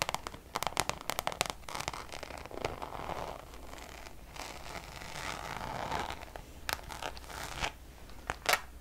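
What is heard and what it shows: Long nails tap and scratch the surface of a Louis Vuitton Damier checkered coated canvas pouch. Sharp, dry clicks, bunched early on and returning near the end, cut through a steady, papery scratching hiss centered in the mids with a bright top. Each tap dies away almost instantly.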